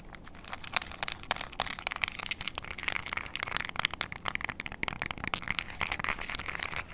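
Long acrylic nails tap and scratch the rubber colored buttons and casing of a small, flat, hollow plastic IR LED remote control held in front of a mini mic. The result is a steady run of quick, sharp, crackly clicks and ticks, bright and dry, with each tap stopping instantly and almost no low end.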